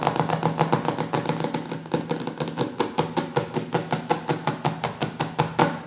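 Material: Laminated board.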